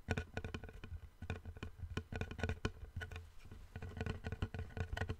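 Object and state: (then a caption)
Wooden plank tapped and scratched. Fingertips and nails tap and scratch along a long, flat, light-coloured solid wooden board held in both hands above a microphone. The result is a quick, irregular run of soft, dull knocks with a low thump around 98 Hz, each dying away almost instantly, separated by faint scratchy rustling.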